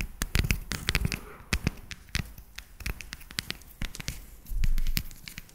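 Long nails tap a solid, segmented dark chocolate bar held close to the mic. A quick, irregular run of sharp, dry clicks follows, each with a deep close-up thump and a bright tick that dies almost instantly. A denser, louder flurry comes near the end.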